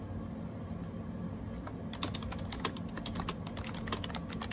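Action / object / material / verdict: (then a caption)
tap / plastic keyboard keys / plastic / none. Fingertips type on a gray plastic AJAZZ 308i wireless Bluetooth keyboard with round keycaps, resting on a desk. After a second or two of steady low hum, a quick run of light, bright plastic key clicks starts and continues to the end.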